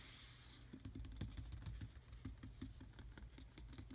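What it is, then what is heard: Textured plastic dashboard panel. Fingertips rub, scratch and lightly tap the grainy surface of a black textured hard-plastic dashboard panel, hollow molded trim in a Jeep Wrangler. A bright, hissy scratch opens the clip, then gives way to a quick, irregular run of soft, dry clicking taps with short, low hollow thumps.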